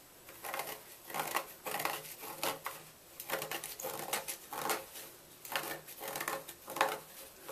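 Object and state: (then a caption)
Gym chalk block being scraped. A knife tip scratches and scrapes out the center of a solid white gym chalk block that is held steady. Dry, gritty scraping comes in irregular bursts with short pauses, bright and crumbly with almost no low end.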